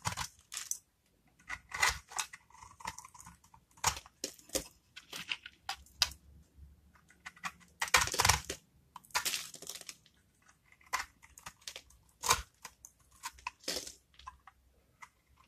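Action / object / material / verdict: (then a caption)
scrape / bar soap cut with a knife / soap / none. A metal knife blade scrapes and cuts into the scored surface of a solid blue-and-white striped bar of dry soap held in the hand, breaking off crunchy flakes. Irregular bursts of crisp, bright crunching and scraping, some short and some drawn out, are separated by brief quiet gaps.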